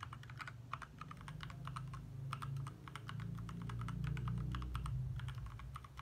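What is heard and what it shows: Fast fingertip typing with both hands on a compact 60% backlit plastic mechanical keyboard with lit plastic keycaps produces a quick, uneven stream of short, clicky taps centered in the midrange. A steady low hum runs underneath throughout.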